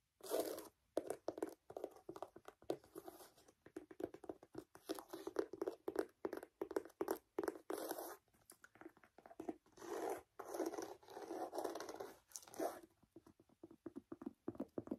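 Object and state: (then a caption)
Leather sneaker tapped and scratched. Long nails tap and scratch across the side and laces of a handheld, hollow, empty white Adidas low-top leather sneaker with black stripes and a brown rubber sole. The result is a quiet, rapid stream of dry, crunchy scratching bursts and short taps centered in the midrange, with almost no low end and no ringing after each touch.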